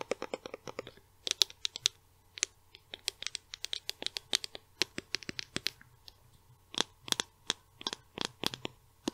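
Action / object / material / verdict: tap / plastic cosmetic tube / plastic / none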